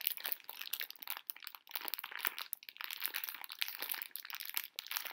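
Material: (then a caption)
Plastic film. A full pink plastic-film bag of conversation heart candies is gripped and crinkled with long nails, the candies shifting inside. Dense, bright crackling comes in quick uneven bursts with brief pauses, and there is almost no low end.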